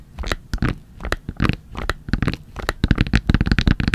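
A Sanrio makeup wipes pack, a soft plastic pouch full of wipes with a hard plastic flip lid, is held in both hands and tapped and scratched with long nails. Quick, dry, crinkly taps and scratches come in a loose run that grows faster and denser toward the end. Each hit is short with a soft, low thump under a faint bright rustle.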